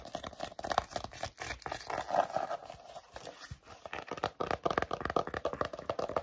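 Short natural nails rapidly scratch and tap across the textured front and back covers of a solid pink hardcover book with an embossed faux crocodile leather-look cover, held upright. The result is a dense, fast stream of dry, crinkly scratches and quick clicky taps, centered in the midrange, with brief pauses.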